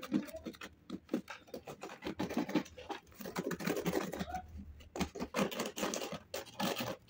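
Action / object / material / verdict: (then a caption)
scrape / dried mud crust on a shoe / dried mud / none. A metal knife blade scrapes dried grey mud or clay crust off the upper of a thickly caked shoe held on a wooden-look table. Quick, dry, gritty scraping strokes come in uneven bursts with short pauses between them. Flakes of the hard crust fall onto the table.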